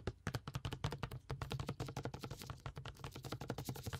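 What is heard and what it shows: Gloved fingertips tap rapidly on a clear plastic water bottle with a blue cap, partly filled with water. The result is a quick, steady run of short, dull, hollow taps with a low thumping tone and almost no ring.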